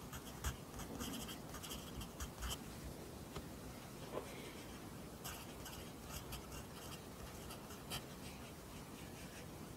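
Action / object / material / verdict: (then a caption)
scrape / graphite pencil on paper notebook / paper / none. A pencil writes continuously on an open lined paper notebook, forming Korean handwriting. The graphite makes a soft, dry scratching on the paper with faint bright rasps, broken by a few slightly louder taps and strokes over a low, steady background hush.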